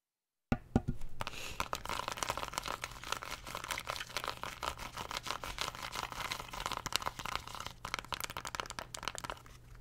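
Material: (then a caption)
Plastic. Long nails rapidly tap and scratch the colored rubbery buttons and casing of a small, flat black plastic LED remote control held in the hand. The result is a dense, continuous stream of dry, clicky taps and crinkly scraping over a faint steady low hum.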